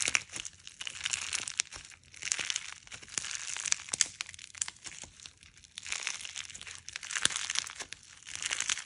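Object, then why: Clear slime packed with polymer clay fruit slices. A hand-sized clear slime packed with polymer clay fruit slices is folded, stretched and squeezed between the fingers and thumbs of both hands. It gives bright, crunchy crinkling and crackling in repeated waves of dense, sharp clicks, with almost no low end.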